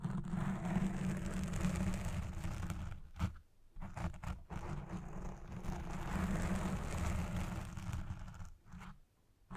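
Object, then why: Foam microphone windscreen. Fingertips with long red nails scratch a black porous foam windscreen on a microphone, first with one hand and then both hands at the base of the foam. A dense, low, rumbling scrape runs almost continuously, with brief drops into near silence around 3.5, 4.5 and 9 seconds.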